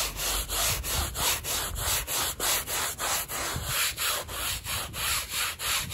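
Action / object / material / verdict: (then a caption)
scrape / woven textile rug scrubbed with a bristle brush / textile / none. A gloved hand scrubs a small, flat woven rug, wet, foamy and muddy, with a handheld bristle brush in quick, steady back-and-forth strokes. Each stroke gives a bright, hissing scratch with a soft wet rub underneath, repeating about three times per second with short gaps between them.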